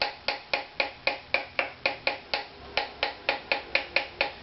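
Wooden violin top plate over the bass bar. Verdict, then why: Low. Seventeen short, bright taps move across the wooden top of a violin over the bass bar, each a dry knock with a brief ring centered near 2.5 kHz, at roughly four per second with a short pause midway. The tap tone drops as the tapping passes over the bar, showing the bass bar is a little low compared with the top plate's target pitch.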